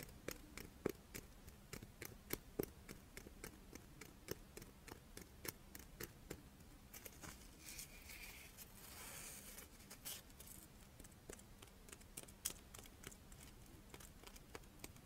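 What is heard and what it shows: A palm-sized, character-shaped monaka wafer with chocolate filling is held up while long nails scratch and tap along its ridged surface. Quiet, dry, sharp clicks and taps come in an irregular stream, with a softer, bright scratchy rustle in the middle, over a faint steady low hum.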